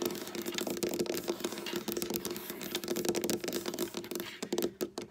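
Long black nails rapidly tap and patter on a large, solid dark wood tabletop close up. A dense stream of quick, clicky taps runs throughout, with a steady low-mid tone around 350 Hz beneath the short, bright clicks, and each tap dies away almost at once.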